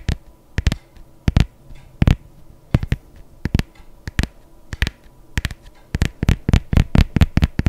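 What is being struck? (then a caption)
Leather sneaker. A hollow, empty white adidas leather sneaker with laces, held on its side, is tapped and scratched with long nails on its leather upper. Sharp, dull knocks come in quick, uneven clusters, with soft scratching between them. The sound is low and thumpy, and each tap dies away almost at once.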